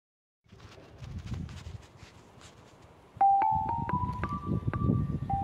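A hand taps a row of long, solid, flat grey Kilkenny limestone lithophone bars with drilled holes, laid side by side outdoors, using the metal shaft of a red-handled screwdriver. After a few seconds of faint low rustling, a quick series of sharp, bright tuned notes steps upward in pitch and then drops back to the first note. Each note rings briefly against a low background rumble.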